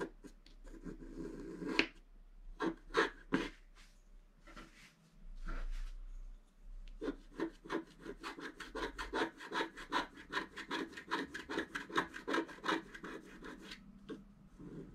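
A wooden stylus scratches short strokes at the top of a black-coated scratch-art paper page, making dry, bright rasping scrapes. A few scattered strokes come first, then a fast, fairly steady run of short scratches from about seven seconds to the end.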